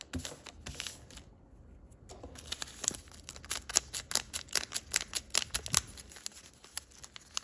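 A sheet of thick printed origami paper, folded into a narrow diamond shape, is creased and pressed against a table with the fingertips, then held in both hands and rubbed with a crinkly motion. Bright, dry crackles and sharp paper ticks come in a quick, uneven stream after a brief quiet pause near the start.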